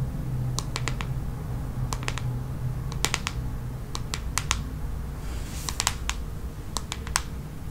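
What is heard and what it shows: Long nails tap and scratch the smooth red plastic back of a hollow paddle hairbrush, making sharp, bright clicks in irregular bursts with a short scratchy rasp in the middle. The taps die away almost instantly over a steady low hum.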